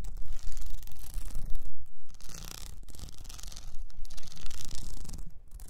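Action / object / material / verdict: scrape / plastic rhinestone sheet on a cylinder / plastic / none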